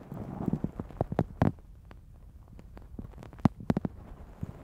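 Long nails on both hands scratch a black foam windscreen fitted on a Zoom H6 recorder. The result is a series of dry, muffled scratches and sharp taps, heavy in the low end, with a denser cluster at the start, a quieter stretch in the middle, and a few crisp strokes near the end.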